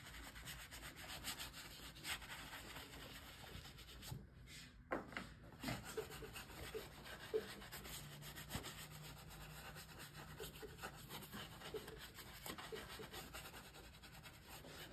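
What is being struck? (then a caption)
Leather boot scrubbed with a bristle shoe brush. A yellow-handled shoe brush scrubs polish briskly over the toe and vamp of a worn black leather lace-up combat boot, which rests on a shoe-shine stand with a foot inside while a hand steadies it. Steady bristle rubbing and scratching fill the clip, with a brief dip in the middle and sharper bristle strokes breaking through now and then.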